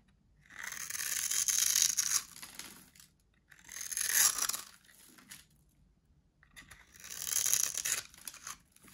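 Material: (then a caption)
Soap. A metal blade slices cubes off a solid orange dry soap bar with a grid-cut surface, held in the hand. Three long passes of dry, crunchy scraping are heard, each a bright, crackling rasp with short pauses of quiet between them.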